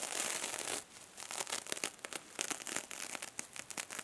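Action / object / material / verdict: scrape / metal mesh scrub sponge / metal mesh / none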